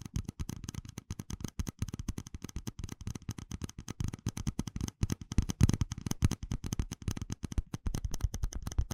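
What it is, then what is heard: Plastic cup. A small, hollow, empty red plastic cup with ribbed rings is held in one hand and tapped with the fingertips and nails. It gives a rapid, continuous run of short, dull, low-heavy taps and clicks that die away almost instantly, with little brightness.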